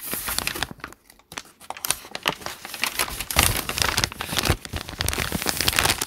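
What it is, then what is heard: Paper notebook pages being crumpled. Hands crumple a page of a thick open notebook with lined white paper while fingertips rub and crinkle the pages. Dense, bright crinkling and crackling comes in rapid bursts, with a brief near-silent pause around the one-second mark before the crumpling resumes more loudly.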